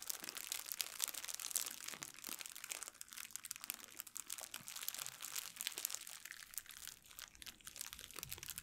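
An empty, thin clear plastic packaging bag is crumpled and rubbed with fingernails in both hands. The result is a continuous, bright, crisp crinkling with dense, fast crackles and almost no low end.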